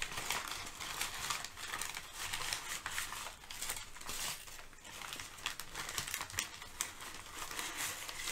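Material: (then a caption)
Paper. Layered sheets of thin brown kraft packing paper are shifted and crinkled by hands with long nails. The result is a steady, bright crackling and rustling with dense, quick crinkles that rise and fall throughout, with little low-end weight.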